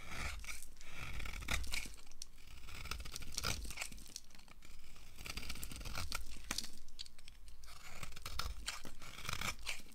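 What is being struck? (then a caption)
Bar of soap. A solid yellow oval bar of dry soap is carved flat with a red-handled knife blade, sending powdery flakes falling. Steady dry scraping and crunchy tearing strokes repeat throughout, with bright crackle over a low rumble.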